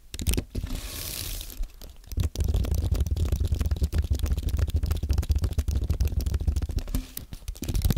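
Fingertips type on a compact white aluminium-and-plastic Apple keyboard, producing a fast, continuous stream of soft, low, thumpy key taps. A brief hissy, bright rustle comes early, and after a short pause near the two-second mark the dense typing resumes and carries on to the end.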